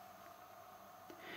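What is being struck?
Nothing is struck.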